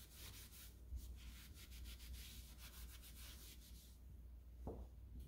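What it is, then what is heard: Chrome door lever handle. A hand wraps a purple microfiber cloth around a solid chrome-plated metal lever handle with a round rose on a white interior door and rubs it back and forth. Soft, bright swishing strokes repeat steadily over a low background hum, with one brief dull bump near the end.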